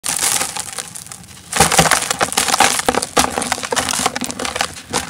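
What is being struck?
Sand cement block.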